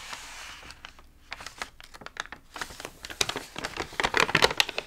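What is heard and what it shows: A hand flips a page of an open, water-damaged paper magazine with wavy, wrinkled pages, then fingertips rub and press the crinkly paper. A soft, steady rustle of the turning page gives way to quick, irregular dry crackles and crinkles. These grow denser, brighter and louder toward the end.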